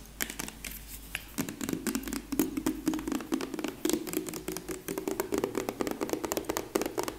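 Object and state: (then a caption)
Plastic lotion tube, full. A medium soft plastic lotion tube with a purple cap, apparently full, is tapped and scratched with long nails. Quick, crisp clicks and taps come in rapid clusters over a faint scratchy hiss, with a hollow tone around 300 Hz.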